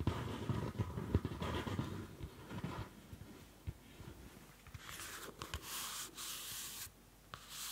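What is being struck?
Small paper notebook with a card cover.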